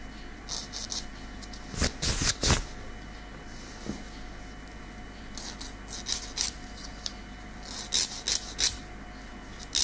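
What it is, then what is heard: Fingernail being filed. A long natural keratin fingernail has its edge filed with a light grey nail file held in the other hand, making rasping scratches. Short, bright, breathy strokes come in irregular clusters over a quiet background with a faint steady hum.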